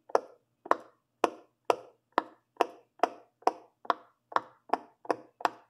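A hand presses and pops the hollow bubbles on the teal and blue section of a large silicone pop-it fidget toy. Thirteen short, dry pops come at a steady pace, each with a soft mid-pitched body, a bright snap on top, and almost no ring.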